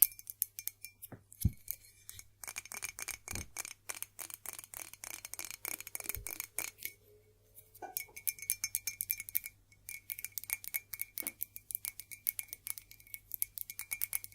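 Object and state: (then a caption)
Ceramic mug. An old Staffordshire ceramic mug, made in England and given by a co-worker, is tapped and scratched. Rapid, dense clicks and light clinks come with a steady faint tone near 2.3 kHz and bright, short-ringing highs. There is a brief pause around the eighth second, and a low hum sits underneath throughout.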